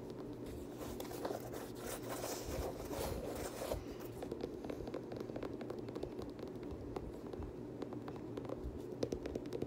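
Fingers scratch the fabric inner lining, the tongue and the suede upper of an empty black suede Air Jordan 6 UNC sneaker. The result is a steady, soft, dry scraping and rustling with small crackling ticks. A brighter, hissy texture fills the first few seconds, then gives way to duller, lower scratching.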